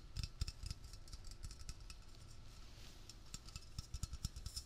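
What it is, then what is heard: Metal aerosol can. A hollow, metal, cylindrical Blue Coral aerosol can with a blue plastic cap is held in the hand and fast-tapped with fingertips and nails on its body and label. The result is a quick, continuous run of short, dry clicks and ticks with very little ring, a soft low thump under each tap and a bright metallic tick on top.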